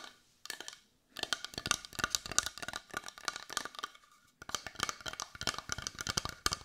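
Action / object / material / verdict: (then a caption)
tap / carved wooden heart / wood / none. Long nails tap rapidly on the edge and front of a brown carved wooden heart that looks solid and is held in the hands. The result is bursts of quick, dry, bright clicks with almost no ring and a hollow woody tone near 1.4 kHz. Two brief pauses separate the bursts.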